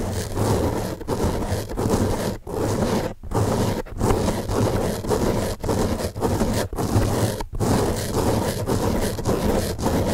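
Fingertips scratch the top surface of a large, soft, porous blue open-cell foam car sponge. The result is a steady, dense, rough scratching with a low, muffled body, broken by short pauses between strokes.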